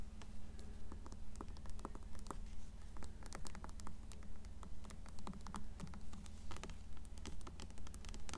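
Long nails tap and scratch the spine and cover of an upright, closed blue paperback copy of Coraline. Quick, dry clicks and scratchy strokes come in a steady, fairly regular rhythm over a constant low hum.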